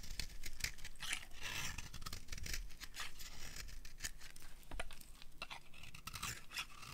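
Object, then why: Bar of soap scraped with a metal blade. A metal blade scrapes fine strands off a solid cream dry soap bar. The result is a steady run of dry, crisp scraping and crunching, with short bright bursts laid over a soft low rumble.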